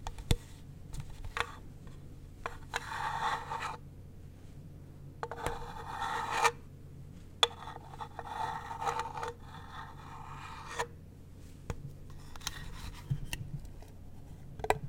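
A furry fursuit paw scratches and rubs the lid of a small, hollow, light-wood box with a brass latch, making bursts of dry, bright scraping broken by sharp clicks and taps. A faint steady low hum runs underneath, and the lid is lifted slightly near the end with a final click.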